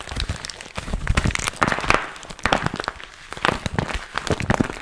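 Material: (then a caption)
Vinyl. Fingers crinkle and squeeze a small, empty, glossy pink patent vinyl zip pouch held close. Dense, crackly crinkling comes in bursts of sharp snapping clicks, with brief quieter stretches of soft rustle in between.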